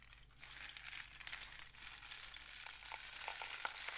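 A long, hollow painted cardboard rain stick with a mesh-wrapped end is held in both hands, fingertips resting on its surface, as it is tilted and turned. A steady, bright pattering rush of small rattling grains fills the clip, with a few sharper clinks standing out toward the end.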